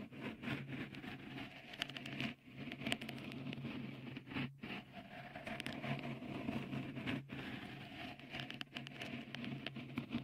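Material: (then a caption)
Silicone. Fingertips tap and rub a small, hollow, white, dimpled textured silicone cover fitted over the right microphone capsule of a Tascam recorder. The result is a continuous close-up crackling patter of soft taps and scrapes over a steady low hum, with a few brief dips in level along the way.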